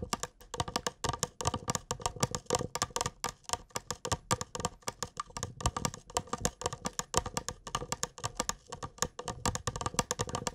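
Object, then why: Small clear glass cup. A small, clear glass cup, hollow and apparently empty, is held in both hands and tapped with fingertips and nails. It makes a rapid, steady stream of short, crisp clicks and taps. Each tap carries a faint glassy ring near 500 Hz that dies away almost instantly.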